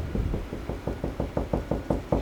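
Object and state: Solid drywall over a wood stud.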